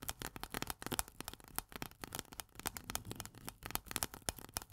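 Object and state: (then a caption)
Steel can lid, tapped and scratched. Long nails tap fast and scratch across the metal pull-tab lid on top of a small, full steel corn can. The result is a dense run of quick, dry, bright clicks mixed with brief scratchy rasps, each dying out almost at once with little ring.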